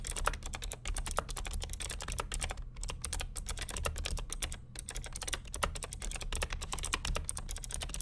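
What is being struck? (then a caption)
Plastic mechanical keyboard. Fingertips of both hands type continuously on the plastic keycaps of a vintage beige NMB RT8255cw+ mechanical keyboard with clicky Hi-Tek "Space Invader" switches and a hollow plastic case. Rapid, crisp, bright clicks tumble out in a dense, uneven stream over a low, steady rumble, each click dying away almost instantly.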